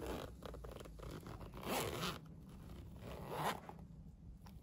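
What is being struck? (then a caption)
Fabric pencil case with plastic coil zipper. Fingers pull the yellow plastic slider along the yellow plastic coil zipper of a Minion fabric pencil case made of polyester, zipping and unzipping it. Quiet, raspy zipper strokes with a bright edge swell into two louder zips, then trail off over a low background rumble.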